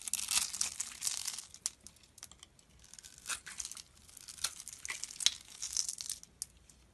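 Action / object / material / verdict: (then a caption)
scrape / bar of soap / soap / none. A utility knife blade scrapes and shaves the scored surface of a hand-sized, solid dark brown soap bar held in the palm, and grainy flakes fall off. Dry, bright scratching and crinkly shaving strokes come in bursts, some short clicks and some longer rasps. There is almost no low end.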